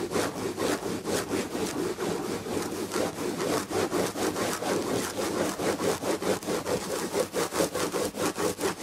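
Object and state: Textured fabric chair back, scratched.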